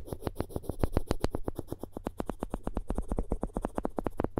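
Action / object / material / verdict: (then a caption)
scrape / wooden spoon handle scraped with a floss string / wood / none. The floss string of a plastic floss pick is scraped and rubbed across the edge of a solid wooden spoon handle held close to the microphones. It makes a rapid run of about 36 short, dry rasping strokes with no ring, over a steady low hum.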